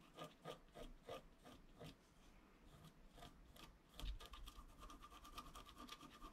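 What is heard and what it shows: A wooden stylus scratches along the lower edge of a flat, black-coated scratch-art card lying on a table. Short, dry scraping strokes repeat in a steady rhythm, then give way to denser, continuous scratching that starts with a louder stroke and ends in quick, light rasps.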